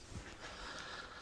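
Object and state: Nothing is struck.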